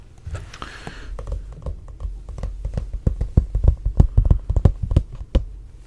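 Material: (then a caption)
Paper. Taps on a paperback Jujutsu Kaisen manga, Volume 1, produce quick, dull, low thumps in an irregular run. The tapping grows louder and denser toward the end, and striking from higher up on the book changes the sound.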